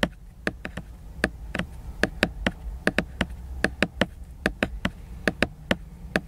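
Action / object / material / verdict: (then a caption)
tap / laminated hardcover book / laminated board / none. Fingertips and a fingernail tap on the glossy laminated cover of a solid hardcover book lying flat. About 23 short, dry taps at an irregular pace, each a crisp click with a slight hollow body and no ring. A low steady hum sits underneath.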